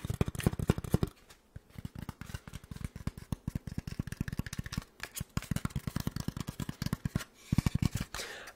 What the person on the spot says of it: the somewhat bassy, sticky tapping sounds of Styrofoam